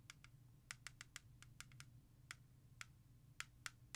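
Long nails and fingertips tap fast on the back of a hollow plastic CD jewel case held in the hand, tracing along the track list. About fifteen sharp, bright clicks land in irregular quick bursts, each dying away almost instantly. A soft low hum runs steadily underneath.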